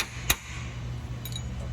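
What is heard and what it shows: A metal part fully seated in a CFT can seamer is tapped twice to confirm it is bottomed down. A sharp, bright metallic tap is followed by a fainter ringing one, over a steady low hum. The part sounds properly seated.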